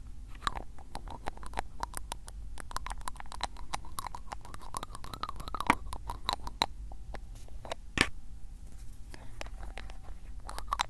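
A hand-held glass ink bottle with a black plastic cap has its cap twisted and tapped by fingertips. The result is a steady run of quick, dry ticks and light clicks, each very short with no ring, over a low constant rumble, with a few sharper, brighter clicks standing out partway through.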